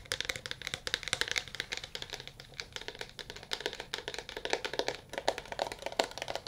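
A solid smartphone in a dark blue plastic case, held in both hands, is tapped rapidly with fingernails and fingertips. The result is a fast, continuous run of short, dry clicks with a bright, crisp edge and almost no low end, and each tap dies away almost instantly. Toward the end, a hollow mid-toned knock grows more noticeable under the clicks.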